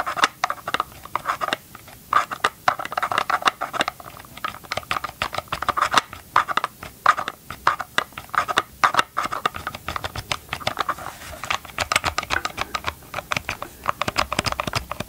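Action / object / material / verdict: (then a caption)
tap / plastic chainsaw housing / plastic / none. Gloved fingertips tap rapidly on the hard plastic side housing of a chainsaw held sideways over the mic. The many short, dry taps each die away at once, with a hollow knocking tone around 1.2 kHz and faint brighter clicks.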